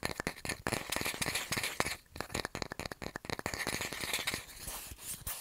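A round, flat, solid light-wood bamboo coaster held in the hand is tapped and scratched with fingernails on its face and edge. A rapid run of dry, sharp clicks that die away almost instantly is heard over a bright, scratchy rasp, with a brief lull near the two-second mark.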